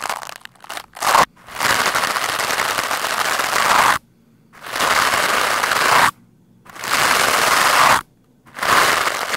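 A black foam microphone windscreen is brushed with a lime-green plastic scrub brush. A few quick, short scratches are followed by four long, fast passes of dense, crackling scraping, each separated by brief silence. The sound is bright and gritty, with its body centered around 1 kHz and no low end.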